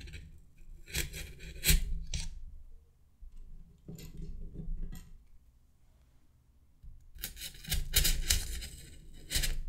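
Fingertips push wooden toothpicks into a white solid polystyrene foam mannequin head already studded with many toothpicks. Each push makes a squeaky, bright rasp as the pick pierces the foam, with bursts around 1–2 seconds, 4–5 seconds, and a denser run from about 7 to 10 seconds, separated by quiet pauses.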